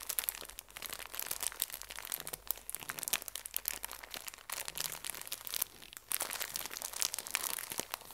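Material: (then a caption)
Plastic film. A small, full pocket tissue pack in thin plastic wrap is pressed and crinkled by fingertips and nails. Dense, bright crinkling and crackling runs throughout in quick, dry bursts with almost no ring. Brief softer dips come just before 4.5 and 6 seconds.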